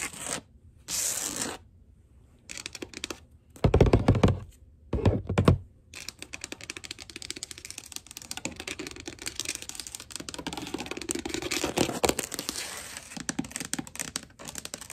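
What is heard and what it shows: Long gold acrylic nails scratch and tap across a solid wood-look plank floor (wood or laminate) in a quick scurrying motion. Short bright scratchy bursts open the clip, followed by two louder, low thumping passes. From about six seconds on there is a steady stream of rapid, crisp nail taps and scrapes.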